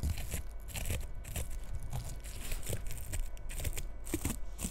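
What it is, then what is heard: Bristle bottle-brush tree, scratched. Long red nails scratch and comb the bristles of a small frosted bottle-brush Christmas tree lying tilted. The result is a steady, close, crunchy crinkling and rustling with a low rumble underneath and brief bright scratchy bursts.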